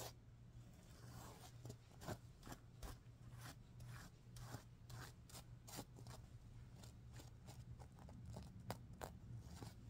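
A hand sweeps across a stuffed sequin pillow while nails scratch the plastic sequins, making quiet, crisp rustles and short bright scratchy bursts. A steady low hum runs underneath throughout.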